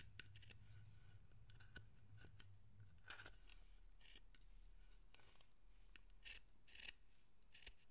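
A steel carving chisel scrapes and cuts the surface of a solid pale wooden figure's head, part of a carved Zōchōten statue, in quick repeated strokes. The bright, crisp scraping bursts die away almost instantly over a quiet, steady low hum.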